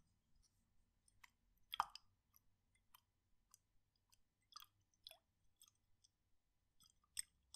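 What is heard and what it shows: A medium glass jar with a red plastic lid, about half full of blue liquid, is held in one hand and tilted and shaken so the liquid sloshes inside. The result is a quiet run of short, bright clicks and small liquid slaps with almost no low end. A louder knock rings around 1.2 kHz near the two-second mark, and each sound dies away almost instantly.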